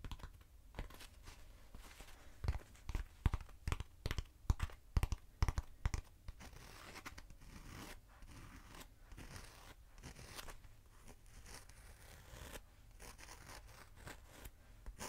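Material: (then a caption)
Foam. Long nails tap and scratch a short, hollow black foam cylinder held in the hand. A run of sharp, dull taps stands out in the first six seconds, then gives way to a steady, quieter scratching and rustling that continues to the end.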